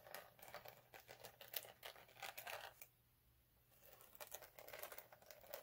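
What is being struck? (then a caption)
Chunky glitter sheet. Short nails and fingertips of both hands scratch the surface of a flat multicolour chunky glitter sheet resting on a dark cloth. The result is dense, bright scratching and crinkling bursts. Near the middle they pause briefly into near silence before resuming.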